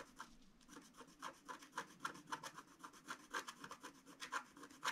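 A long wooden stylus scratches a flat, black, wax-coated scratch art sheet around a reindeer figure. It makes a quick, uneven series of short, dry, bright scraping strokes with a gritty hiss and little low end. The strokes are quiet and close, and each stops almost at once.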